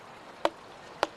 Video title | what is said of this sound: Los herederos de Stradivarius - Documental | Este no suena bien. Hay algo que lo obstruye. El sonido raspa. No tiene un tono claro. Hay dos tonos.